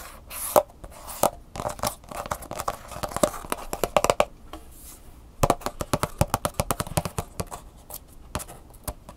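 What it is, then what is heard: Plastic blister pack. Long nails scratch and tap the back surface and sticker label of a clear plastic flash drive blister pack with a cardboard insert, held up in the air. Fast, sharp plastic clicks and crackly scratching come in dense bursts with a short quiet pause in the middle, then resume with crisp, rapid taps.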